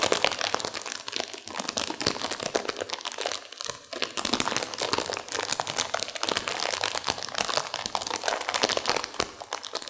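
A sealed plastic instant-noodle packet with dry noodles inside is squeezed and crinkled by hands and long nails to crunch the noodles. Dense, bright crinkling of the wrapper mixes with sharp crunches and cracks for the full ten seconds, with almost no low end and only a brief lull in the middle.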